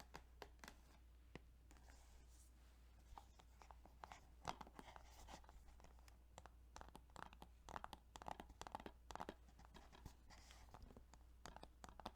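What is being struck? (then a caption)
Plastic video game case. Fingers tap on a plastic Yu-Gi-Oh! Duelist of the Roses video game case, making quiet, quick clicks and soft scratchy taps in an irregular rhythm. A steady low hum runs underneath throughout.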